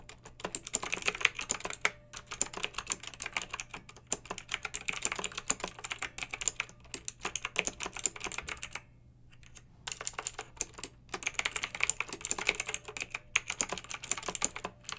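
Long red-nailed fingertips type steadily on a pink plastic mechanical keyboard with round retro plastic keycaps and blue backlight, heard up close. A rapid, continuous stream of bright, crisp key clicks and clacks with very short decay, pausing briefly around nine seconds before resuming, over a faint low hum.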